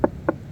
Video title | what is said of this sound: Naglalakihang Bangka siksikan na Dito gawa ng parating na bagyo | iba ang tunog mga soyo, no? Pag may lambat.